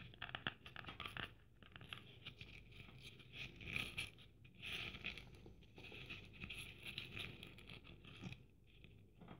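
Long dark nails scratch across a red Christmas ornament ball held in one hand, covered in plastic sequins and trimmed with gold braid. The sound is a quiet, bright, dense scratching and rustling that swells into brief louder crackly bursts as the nails pass over the sequins and braid.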